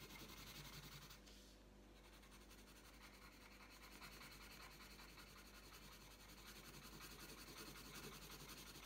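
The tip of a purple wooden coloured pencil scratches and rubs across a thin, flat printed paper colouring sheet lying on a tabletop while colouring. Quiet, continuous scratchy strokes with a bright papery hiss repeat at a fairly steady back-and-forth pace. They ease briefly near the start before building again.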